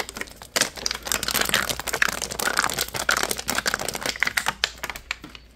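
A partly filled clear plastic (PET) water bottle with a label and cap is held in both hands while fingertips squeeze and crinkle its thin ridged walls. After a quiet start, a burst of dense, bright crackling and sharp clicks begins and continues almost without pause, then thins out into scattered crinkles near the end.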